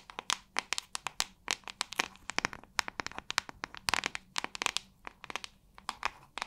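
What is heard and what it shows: Long nails tap rapidly on the hollow back of a white plastic paddle hairbrush held by its handle. About 39 sharp, dry, bright clicks come in quick, uneven bursts, each stopping instantly with no ring.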